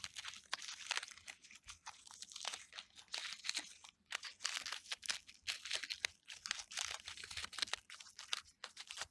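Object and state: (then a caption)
Peeling birch bark. Fingernails scratch and pick at loose, papery strips of peeling bark on a solid birch trunk while fingertips rub them. A dense run of dry, bright crinkling and crunching scratches comes in quick irregular bursts with almost no low end. Each scrape stops dead with no ring.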